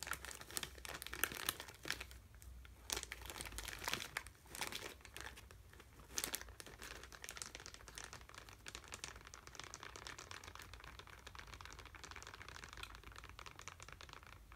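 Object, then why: Plastic candy bag with sweets inside. A purple plastic Cadbury Mini Eggs bag with candy inside is held in one hand and crinkled and shaken. Dense, bright crackling comes in loud bursts over the first six seconds, then settles into a steadier, softer crinkle, with a faint low hum underneath throughout.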